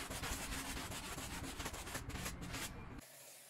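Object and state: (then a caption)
Damp pile rug being scrubbed. A gloved hand scrubs a small, damp, bear-shaped pile rug with a white handheld brush, making a steady run of rough, bristly rubbing strokes with a bright hiss and a low, thumpy body. The scrubbing continues at an uneven rhythm for about three seconds, then cuts off, leaving only a faint, quiet tail.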